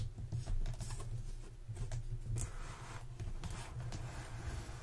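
Long nails scratch and tap the lid and side of a closed, hollow black corrugated cardboard box as it is lifted and turned in both hands. Soft, dry scraping and light taps ride over a steady low rumble, giving a quiet, close, papery texture.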